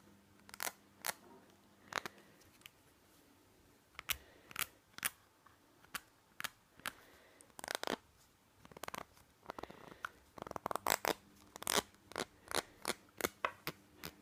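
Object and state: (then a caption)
Plastic nasal spray bottle. Fingernails tap and scratch the white nozzle cap and body of a small white plastic nasal spray bottle. The result is a quick, irregular run of quiet, sharp, dry clicks and brief scratchy rasps that are bright and die away instantly. A faint steady low hum sits underneath.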